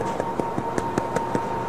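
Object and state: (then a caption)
Hollow-sounding, baked-through bread loaf. The bottom of a freshly baked crusty bread loaf is tapped seven times in a quick, even rhythm, each tap giving a dull, hollow knock over a faint steady tone. The hollow sound shows the loaf is baked through rather than underdone.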